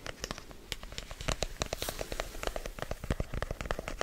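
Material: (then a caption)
Cardboard. Fingertips quickly tap and scratch on a hollow, hand-sized black rigid cardboard product box. The result is a rapid, uneven stream of dry, crackly clicks with a soft, low hollow thump under each tap. Every tap dies away almost at once.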